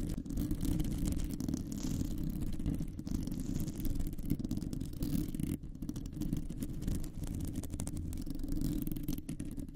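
Long nails on both hands scratch across a round, hollow metal mesh microphone grille. The result is a steady, dense, low rumbling scrape with a faint papery hiss above it. It runs for the whole clip, with only brief dips in level.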